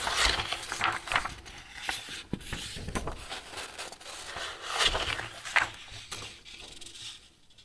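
Fingertips leaf through flat, thin white A4 paper sheets held in a metal two-ring binder, turning, flexing and rubbing the pages. Bright, crisp rustles and crinkles come in a string of short swells, with soft flicks as pages fall over, fading quieter toward the end.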